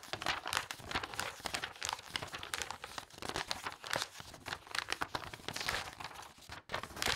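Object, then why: Thick glossy paper catalog. The pages of a thick glossy paper toy catalog are fanned and flipped rapidly by a hand with long nails. They make a dense, bright paper flutter of quick crinkling snaps with little low end. The flutter runs almost without a break, apart from a brief near-silent dip just before the end.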